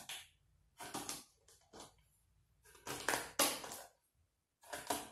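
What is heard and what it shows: Fingertips press a small green plastic cookie cutter into a loose layer of coarse white salt, possibly Epsom salt, in a shallow black round tray, stamping circles and compressing the crystals. Short, bright, gritty crunches come in irregular bursts separated by near silence, each fading quickly.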